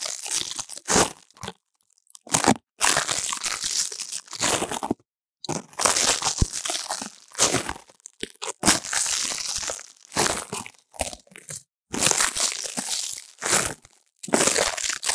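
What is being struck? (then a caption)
Dried leaves in a stainless steel bowl. Fingertips crush and crumple a pile of dry, brittle green leaves, likely nettle, in a shallow stainless steel bowl, with a foam-covered mic pressed into the pile. Bright, dry crackling crunches come in short bursts broken by brief silences, with little low end.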